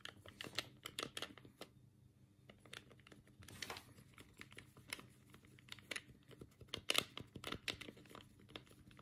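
Fingertips press and click the D-pad and buttons of a black, hollow plastic Sega Mega Drive control pad, heard close up. Quiet, sharp, bright plastic clicks and taps come in an irregular, rapid stream with brief pauses. Each click is very short, with almost no ring and little low end.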